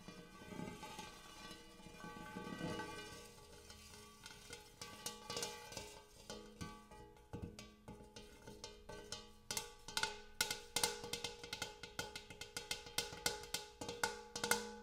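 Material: Metal.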